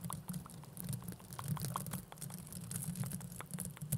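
Two small, hollow blue plastic mesh velcro hair rollers are held at both sides of the microphone and rubbed and scratched with fingers and long nails. The result is a steady, soft, low rustling texture dotted with quick, bright scratchy clicks that crackle like light patter.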